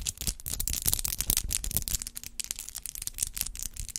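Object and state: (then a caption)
Acrylic nails tapping and clicking. Long acrylic nails with rhinestone clusters tap and click against each other, nail on nail, with the hands held above a microphone. The result is a rapid, uneven stream of sharp, bright clicks that die away almost instantly, over a soft low rumble.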